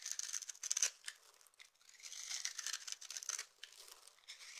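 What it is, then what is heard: Bar of dry soap being scraped. A knife blade with a yellow handle scrapes and shaves the surface of a solid, rounded, palm-sized bar of dry red-purple soap held in one hand, throwing off fine curls and crumbs. The sound is a quiet, dry crackling and scratchy rasping made of short bursts, almost entirely high and bright with no low end. The bursts are louder near the start and fade to softer scraping toward the end.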